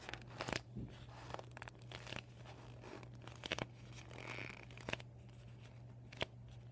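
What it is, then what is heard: Deflated vinyl beach ball. A deflated PVC vinyl beach ball with yellow and white panels lies folded and empty on a wooden table while fingertips and short nails crinkle and scratch across the vinyl. The result is soft, irregular crinkling and scraping, with several sharper ticks standing out over a steady low hum.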